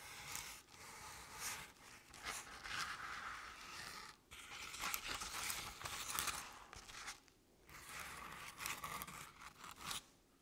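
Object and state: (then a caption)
Paper-covered decorative pumpkin being scratched. Long painted nails slowly scratch the sides of a medium artificial jack-o'-lantern covered in crinkled orange paper. The result is soft, bright, papery scraping strokes that rise and fade, separated by brief pauses.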